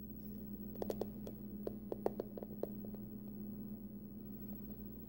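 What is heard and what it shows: A closed, hollow, hard-shell printed aluminum card-case wallet with a pumpkin print is held in both hands while long nails tap and scratch its front, then its edge. About eleven short, dry clicks and faint scratches with almost no ring stand out over a quiet, steady low hum.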